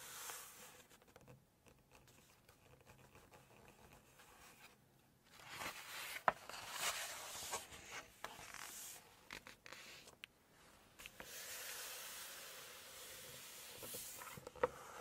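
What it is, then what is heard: Glossy paper book pages. Long red acrylic nails rest on and tap the glossy photo pages of a large open hardcover Chinese cookbook, then a page is turned. Quiet, bright rubbing and scraping hiss is broken by a few sharp, dry clicks, and a louder papery rustle swells in the middle and again toward the end as the page turns.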